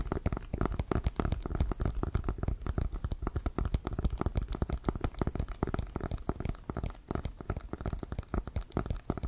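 Fingernails tap quickly on the leather surface of an inflated, hollow leather American football held at one side. The result is a dense, steady stream of short, dull, hollow taps with a low thumpy body and little ring, continuing for about nine seconds.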